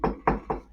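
Three knocks on a desk whose inner material is very dense, spaced about a quarter second apart. Each is a short, dull thud centered around 450 Hz with almost no high end, dying away within about a tenth of a second. The dense, solid desk carries the force and makes an audible knock.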